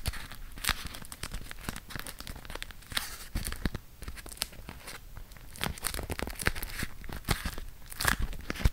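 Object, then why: Beeswax-coated cotton wrap. A folded, printed beeswax-coated cotton food wrap is held in both hands while fingertips and nails pull its sticky waxed layers apart and crinkle them. A steady stream of tacky, peeling crackles and crisp crinkles is punctuated by sharp, bright snaps as the layers unstick. Each sound ends quickly, with a soft low rumble of handling underneath.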